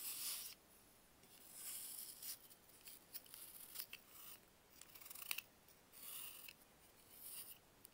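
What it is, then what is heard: Dried baking soda block being shaved. A solid, dried block of baking soda is shaved with a box-cutter blade held in bare hands. Dry, crisp scraping strokes come in short bursts separated by near-silent pauses, with a few sharper crackles and almost no low end.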